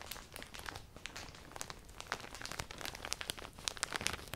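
A clear plastic poly bag with folded black clothing inside is grabbed and crumpled with fingertips and long painted nails. Dense, bright crinkling and crackling fills the clip, with many sharp pops over a soft rustle that continues throughout.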